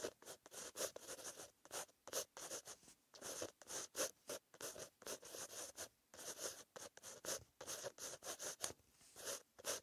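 A green-ink pen tip scratches across a white lined page in a paper notebook while writing. Short, dry, scratchy strokes come in quick bursts with brief silences between them, bright and hissy with almost no low end.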